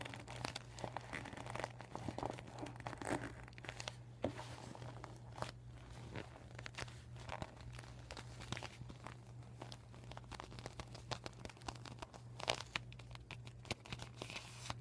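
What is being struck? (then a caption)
Vinyl beach ball. A deflated, flat and empty PVC vinyl beach ball with red, white and yellow panels written on in marker is scratched and tapped by short painted nails while fingers crinkle the plastic. Dense, quiet crinkling and sharp scratchy ticks run throughout over a steady low hum, with no ring after each touch.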